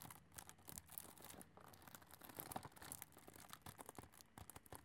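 Long nails tap and scratch across a full, flat cardboard chocolate box shrink-wrapped in cellophane as it is turned to show its sides. The result is a quiet, close run of soft taps mixed with crinkly, brushing scratches that rise into bright hiss, each tap dying away almost at once.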